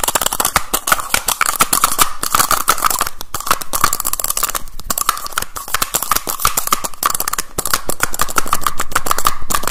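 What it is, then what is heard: Plastic tube case with snap caps. Fingers rapidly pull the caps off a small teal plastic cylindrical tube case and snap them back on, making a fast, loud, irregular stream of sharp clicks. Each click is short and bright, with a steady ringing tone around 1.2 kHz running under the clatter.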